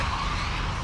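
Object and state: Nothing is struck.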